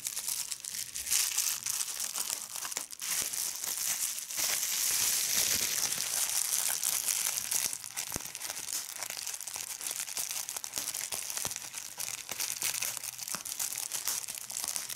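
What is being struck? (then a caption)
Plastic bubble wrap sheet. A large sheet of clear plastic bubble wrap is held up in one hand while fingertips with long red nails crumple it and pop its bubbles. The result is a dense, bright crinkling broken by frequent sharp little pops, with a steadier rush of crumpling in the middle of the clip.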